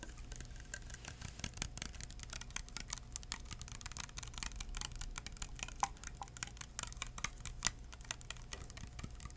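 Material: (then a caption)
Plastic. A small clear plastic hand sanitizer bottle filled with liquid and topped with a white cap is tapped rapidly with bare fingertips, no nails. The result is a quiet, steady stream of soft, dry, bright clicking taps that stop almost instantly, over a faint low hum.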